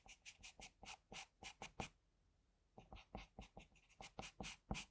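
A graphite pencil held in a metal extender scratches steadily across a flat sheet of drawing paper in close view. About 21 short, bright, papery strokes come in two bursts, with a quiet pause of nearly a second between them.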